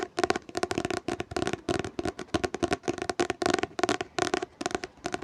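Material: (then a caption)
Cardboard and paper. Fingertips tap rapidly on a hardcover book, making a dense run of short, dry taps with a hollow midrange tone and almost no ring. The taps come in quick clustered bursts that keep going through the whole clip.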